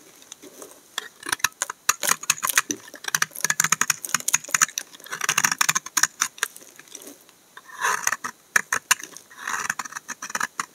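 A solid tan brown laundry soap bar is shaved with a utility knife blade, peeling off thin sheets. The result is a quick run of dry, crisp scraping clicks and short rasps, bright and papery with almost no low end. Each cut cuts off sharply with no ring.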